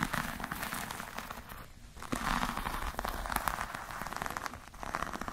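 Long nails scratch across the textured surface of a black, glossy, croc-embossed patent leather clutch bag. The result is a dense, crackly scratching and tapping, like a fine patter, that briefly quiets about two seconds in before resuming.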